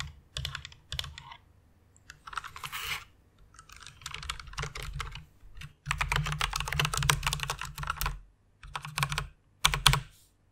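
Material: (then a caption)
Plastic. Fast typing with fingertips and long nails on a white plastic rainbow mechanical keyboard. It produces bursts of rapid, bright clacking keystrokes with a low, hollow body beneath. Short pauses separate the runs.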